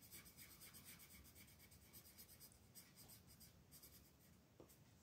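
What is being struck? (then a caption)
Colored pencil on a paper coloring page. A purple colored pencil shades a flat paper mandala coloring page on a table with short rubbing strokes while the other hand holds the sheet. The result is a quiet, continuous scratchy rasp with a bright hiss, pulsing in quick, uneven strokes about four times a second.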